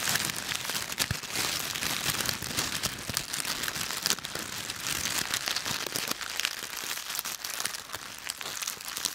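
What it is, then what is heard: Dry leaves crushed by hand. A handful of dry yellow-brown autumn leaves with stems is squeezed and crushed in both fists with the fingers. The result is a dense, steady crackling and crunching that is bright and almost free of low end. It continues for about nine seconds with only slight dips.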